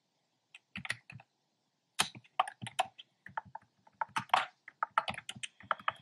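Fingertips with short nails type on a black plastic keyboard with hollow, round retro-style plastic keycaps in cream, pink and red. Quick bursts of hollow, clacky key taps with bright edges come in uneven clusters separated by brief pauses, and each tap dies away almost at once.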